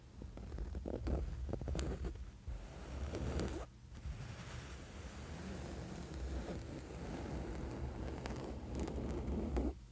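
A flat woven cotton bed sheet lying on a bed is scratched with the fingernails of both hands spread across its surface. The result is a steady, soft, low rustling scratch with faint bright crackles, easing briefly just before the four-second mark before carrying on.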